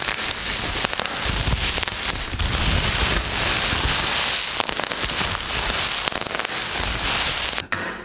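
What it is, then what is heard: Plastic bubble wrap being crumpled. A large, thin sheet of hollow-celled black plastic bubble wrap is crumpled, rubbed and squeezed between the fingers of both hands. It makes a steady, dense, bright crackle with sharp pops over a soft low rustle. The sound cuts off abruptly near the end.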